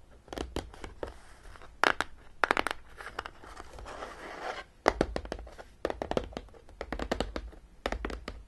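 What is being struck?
Cardboard game box.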